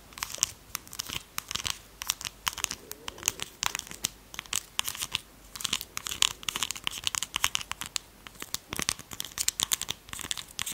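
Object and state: Plastic lip gloss tube.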